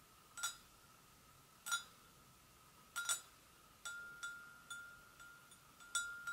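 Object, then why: Porcelain gravy boat. An empty, hollow white porcelain gravy boat is tapped gently on its sides with long nails. Each tap gives a sharp, bright click over a faint, steady ringing tone, and the taps come unevenly spaced with only a brief ring after each.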